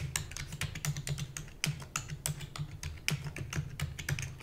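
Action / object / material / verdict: tap / plastic computer keyboard / plastic / none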